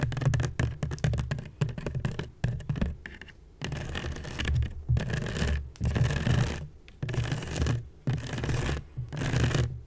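Long nails scratch along the weave of a hollow, woven seagrass basket made of natural fiber. Quick, ticking scratches come first, then longer rasping strokes with short pauses between them. The sound is dry and papery with a heavy low, hollow body.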